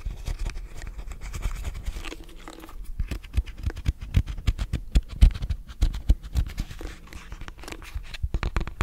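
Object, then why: Plastic hairbrush. Fingernails scratch the plastic bristles and back of a lilac plastic detangling hairbrush held upright in front of the face. The result is a rapid, irregular stream of short, dry scratches and clicks, heavy in the low end with faint bright edges.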